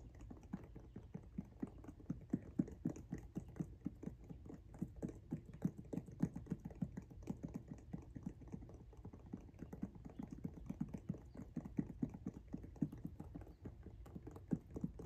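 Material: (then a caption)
Rubber. Long nails tap and scratch across the patterned tread of the pink rubber outsole on a Jordan 1 High "Washed Pink" sneaker. The result is a quiet, steady stream of rapid, soft, dull taps with short scratchy drags, weighted low and muted. Each tap stops almost instantly with no ring.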